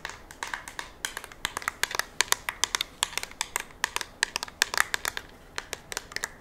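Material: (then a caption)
Polymer. Long nails tap and scratch over the ribbed surface of a curved, hand-sized black polymer rifle magazine, likely empty, held in the hands. A quick, uneven run of sharp, dry clicks and light scrapes, bright and clicky with a tone near 1.8 kHz, dies away instantly with almost no low end.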